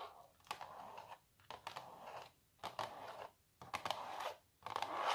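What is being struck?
Printed canvas stretched on a wooden frame.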